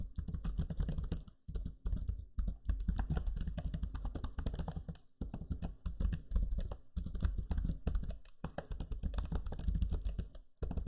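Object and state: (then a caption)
Plastic laptop keyboard being typed on. Fingertips type on the low-profile plastic keys of a backlit black Lenovo Legion 5 laptop keyboard. Rapid, dense clicking and soft, low-heavy tapping run in quick bursts, broken by brief pauses. Each keystroke dies away almost at once.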